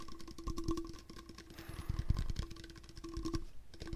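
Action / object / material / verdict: tap / hard plastic water bottle / hard plastic / none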